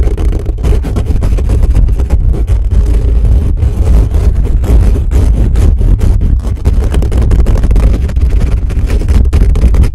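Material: Metal mesh.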